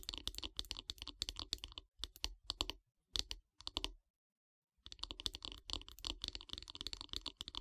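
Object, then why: Wooden bath brush handle. Long grey nails tap rapidly on the solid light-wood handle of a wooden bath brush, making dense, bright, dry clicks in quick bursts. The bursts come in short clusters with a brief silence before a final fast flurry.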